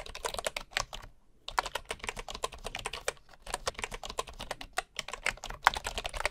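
Fingertips type on the wooden keys of a bamboo keyboard, with a bamboo mouse nearby left untouched. The result is a rapid, steady run of short, dry, bright clicks and taps with a brief pause near the start.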